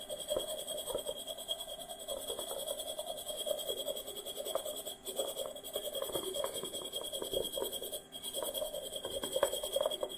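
A small, hollow, unglazed, dry terracotta pot made of stacked rounded sections is held up and tapped quickly with fingertips and nails. The result is a dense, continuous patter of short, dry clicks with a hollow tone around 550 Hz. Steady high tones run underneath, and the tapping pauses briefly around 5 and 8 seconds.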